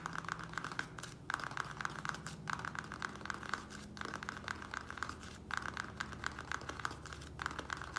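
Fingertips and nails of both hands tap quickly on the sides of a small square black plastic nursery pot, partly filled with soil, standing on a wooden table. The result is a dense, rapid stream of dry plastic clicks and ticks with a bright edge, each tap dying away almost at once. A faint low hum sits steadily underneath.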